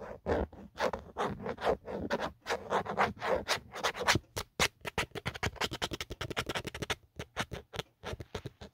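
A fingertip and nail scratch the textured plastic back of an empty black Otterbox phone case, near the embossed logo. Longer, broad raspy strokes come first, then give way to quicker, shorter, brighter scratches in an uneven rhythm, each stopping dry with almost no ring.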